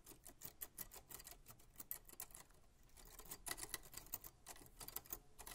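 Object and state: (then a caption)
Vintage metal typewriter. White-gloved fingers press individual round keys and tap around the keyboard and frame of a 1940s Smith-Corona manual typewriter with a black metal body. Quiet, dry clicks and taps come in a fast, irregular patter, each snapping off almost instantly with bright, high edges, easing briefly in the middle before picking up again.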